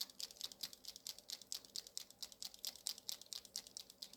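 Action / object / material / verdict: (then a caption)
shake / acrylic paint marker with mixing ball / plastic / none. A white MOLOTOW acrylic paint marker, slightly larger in diameter than a TOOLI-Art marker, is shaken before use so its mixing ball rattles inside. The result is a quick, steady run of light, bright clicks with almost no low end. The rattle is quiet and gentle compared with the TOOLI-Art marker, but still clearly heard.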